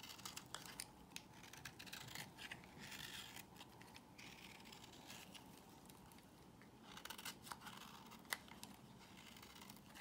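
A solid white bar of soap is held in the hand and shaved with a box cutter blade, scraping off curls. Quiet, bright scratchy scraping runs through the clip in dense bursts, with a few sharper clicks and a crisp tick near the end.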